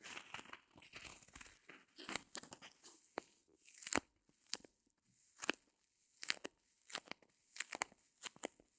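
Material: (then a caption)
Foam. A small white solid reticulated foam block is held in both hands while long nails scratch and squeeze it. The result is a quiet series of dry, bright crunching and crinkling scrapes with sharp, short bursts and almost no low end.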